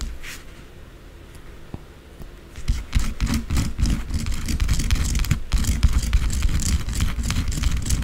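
Long blue acrylic nails scratch and tap the top of a solid white bar of soap lying on soap shavings. After a quiet opening, a fast, dense run of gritty scratches and light taps begins at about 2.6 seconds, with bright, crisp scraping over a heavy low thump, and continues steadily to the end.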